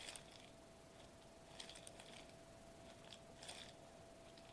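Fingertips tap a sheet of foil-laminated plastic bubble wrap lying flat on a table, making soft, bright crinkly ticks in loose, irregular clusters. A faint steady tone hums underneath the whole quiet clip.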